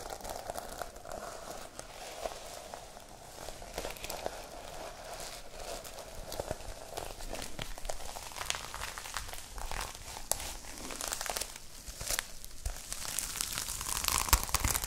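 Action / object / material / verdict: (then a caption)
scrape / notebook with plastic sequin cover / plastic sequins / none. Long nails scratch and rub back and forth over the plastic sequin cover of a small notebook held close to the mic. The result is a dense, crinkly, crackling scrape with bright high sparkle, a steady texture that grows louder toward the end.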